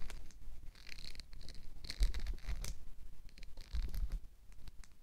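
Fingertips strum and flick the teeth of a black plastic wide-tooth comb held up in the air, giving quick, bright, scratchy plucks in irregular bursts. A soft low rumble sits underneath the brief rattling clicks.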